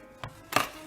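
Two hollow taps on the underside of a large sourdough loaf just out of the oven, a lighter knock followed by a louder one with a short ring. The hollow sound shows the loaf is baked through, ready to go on a rack to cool and rest for an hour before cutting.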